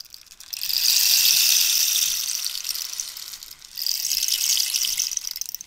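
A long, hollow rainstick made of dried cactus is scratched and tapped with long nails along its ridged wood while the stick is tilted between angles. The result is a bright, hissing, rain-like rattle in two long swells, fading briefly in the middle before rising again.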